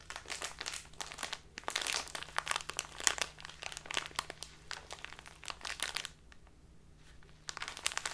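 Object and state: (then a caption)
Plastic bag of loose tea being crinkled. A full plastic bag of dark loose tea is squeezed and crinkled in both hands, making dense, bright crackling and rustling with many sharp snaps. The crinkling pauses briefly near the end, leaving a faint low hum, then starts again.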